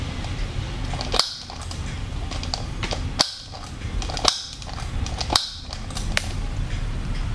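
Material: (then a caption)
Plastic. Fingers work the eye-change mechanism on the hard, hollow plastic head of a brown-haired Blythe fashion doll held in the hands. Four sharp, bright mechanical clicks and a softer fifth sound over a steady low rumble as the eyelids and eye colour switch.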